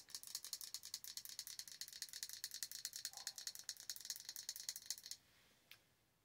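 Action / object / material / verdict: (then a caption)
tap / glass candle jar filled with wax / glass / none. Long orange nails tap quickly on the glass side of a large glass jar candle with a dark lid, filled with solid wax. A rapid, uneven run of bright, dry clicks with almost no ring continues for about five seconds, then stops, followed by one last faint tap after a short pause.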